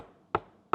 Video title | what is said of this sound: BLÖF MÜ GERÇEK Mİ OYNADIK !? | Tuzluk gibi geliyor bunun sesi